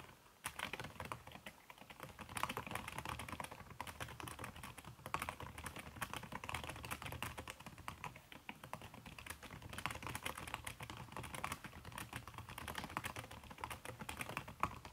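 Fast typing with fingertips and long red-painted nails on a backlit aluminium laptop keyboard with a red silicone skin over plastic keys. The dense, steady stream of short, muffled clicks runs without pause, with occasional louder taps and a soft low rumble underneath.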